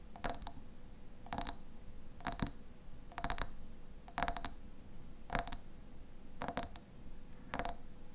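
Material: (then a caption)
Glass. Fingernails tap the sides of a medium clear glass jar with a white lid, partly filled with pale contents. The taps come in eight quick bursts of bright, glassy clinks that die away almost at once, over a steady low background rumble.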